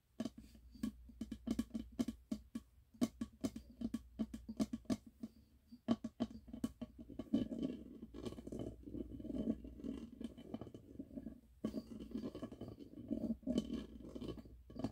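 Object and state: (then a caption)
Glass candle jar. A medium wax-filled glass candle jar with a red label lies on its side in the hands while fingertips and nails tap on the label and the glass wall. The taps are quiet, short and dull, with a low-mid tone that dies away almost at once. They start out spaced and crisp, then blur into a dense, rapid patter with a soft scratchy edge through the second half.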